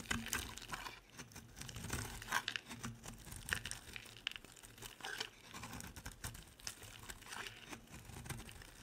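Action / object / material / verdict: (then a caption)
scrape / bar soap / soap / none. A utility knife blade scrapes along the edge of a dry, solid orange bar of soap with small holes, shaving off curls. It makes a quiet, continuous run of crisp, crinkly scraping and crunching, with bright flaky detail and short louder bursts as each curl comes away.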